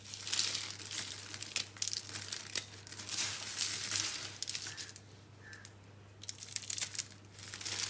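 Bare hands crush small, hollow, dry green-and-pink soap curls and rub through the soap crumbs, giving a bright, dense crinkling crunch. The crackle surges and fades in bursts, with a quieter stretch of rubbing before the crushing picks up again at the end.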